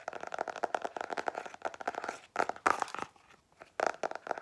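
Long nails rapidly tap and scratch the black-and-white geometric cardboard cover of a book-sized hardcover notebook held upright. Quick, dry, crinkly clicks and scrapes sit mostly in the midrange, with a short pause near the middle and a longer lull before a final burst.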